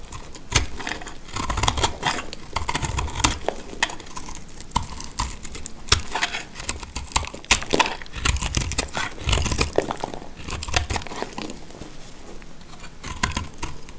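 A box-cutter blade scrapes and cuts into a hand-sized, dry bar of yellow speckled soap held in the hand, shaving off crumbly dry flakes. The sound is a dense run of sharp, bright crackles and clicks over soft low thumps, with very short decays.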